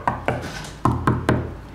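Five knocks on a plasterboard wall panel give a hollow sound, meaning there is still open space behind it. Each knock is a short, low thud with a brief ring, and the last three are louder than the first two.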